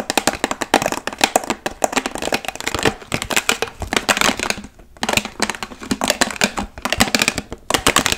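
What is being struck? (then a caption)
Large plastic water bottle, partly filled. Long nails covered in paperclips rapidly tap a large, clear, hollow plastic water bottle that is partly filled. Quick bursts of bright, dry clicks decay almost instantly, with brief pauses between volleys around the three-, five- and eight-second marks.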